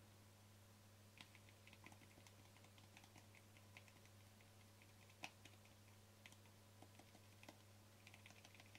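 Fingertips and short nails tap the sides and lid of a small, hollow white plastic cosmetic cream jar with a green label, held in both hands. About sixteen quiet, bright, clicky taps come in irregular bursts over a steady low hum, with one sharper tap near the middle. Each tap dies away almost instantly.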